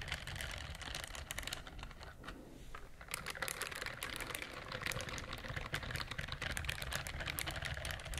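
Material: Silicone.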